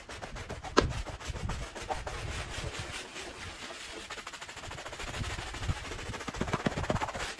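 A handheld bristle brush scrubs a small, wet, dirty fringed woven rug with a red and green pattern and foam on one end. Steady broadband rubbing and swishing runs throughout, with a sharp knock near the start and scattered quick clicks and taps toward the end.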